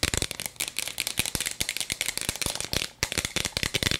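A hollow plastic toy cup with a bead-filled chamber is held in both hands close to the mic while long nails tap and scratch quickly along its plastic sides. The result is a fast run of sharp, bright clicks and scratchy rasps layered with a faint bead rattle, with a brief pause just before the three-second mark.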